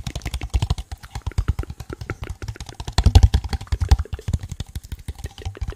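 A small, hollow, empty translucent blue plastic cup is held in the hand and tapped and scratched with fingertips and nails. Rapid, dense taps follow one another with very short rings, giving soft, low, thudding knocks with faint bright scratchy clicks over them. The taps grow louder and busier around the middle of the clip.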